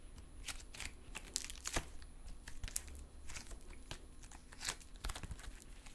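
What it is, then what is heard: Silver metallic stress putty. Soft, solid silver metallic stress putty is held in both hands while fingertips flatten, fold and stretch it apart. The result is a run of quiet, sticky crackles and tearing sounds with sharp, bright clicks and pops scattered throughout.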